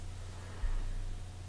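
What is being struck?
Nothing is struck.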